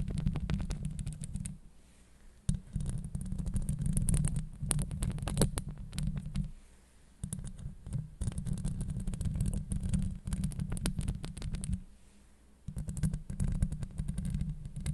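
Long acrylic nails scratch and tap on a hollow steel mesh microphone grille, producing a dense, deep rumbling scrape with rapid crackly ticks on top. The scratching comes in sustained bursts broken by brief quiet pauses.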